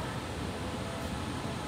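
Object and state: Nothing is struck.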